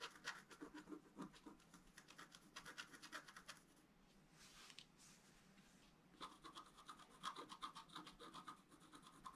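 A wooden stylus scratches the basin into a flat black-coated scratch art paper card held down by the other hand. Quick, dry, rasping strokes come in rapid bursts, ease into a quieter, softer scraping stretch midway, then return with brighter, squeaky scratches around 1 kHz.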